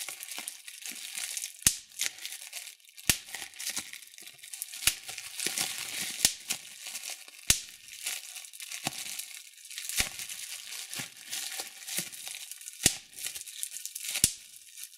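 Thumbs pinch a sheet of clear plastic bubble wrap, popping its air bubbles. A steady, bright crinkling of plastic runs throughout, broken by sharp, loud pops every second or so that cut off almost instantly.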